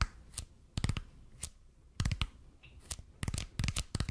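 Fingertips tap and scratch the surface of a red and white speckled expanded polypropylene (EPP) foam roller held in both hands. Short, dry taps come in irregular clusters, each with a soft low thump and a bright, papery, tearing scratch that dies away almost instantly. Quiet gaps fall between the bursts.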